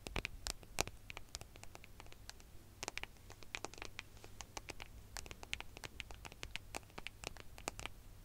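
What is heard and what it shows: Fingernails tap and scratch the back of a small, solid, gold-coloured smartphone with a metal and glass body, held flat in both hands. Many rapid, sharp clicks and brief scratches are heard, bright and dry with almost no ring, over a low steady hum.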